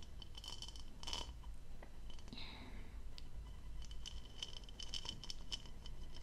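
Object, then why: Textured plastic goblet. Long pale nails tap and scratch the diamond-textured outer surface of a hollow, apparently empty turquoise plastic goblet with a stem, held in one hand. Quick, light, clicky taps carry a short, bright ring around 3 kHz, with a brief scratchy sweep in the middle over a steady low background hum.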